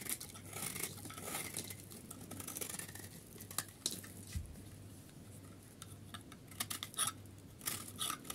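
A solid, bright yellow bar of hard, dry soap held in the hand is shaved and carved with a metal utility knife blade, sending flakes falling. Dry, crisp scraping and scratching strokes sound one after another, with bright, sharp edges and some louder cuts near the end. A low steady hum runs underneath.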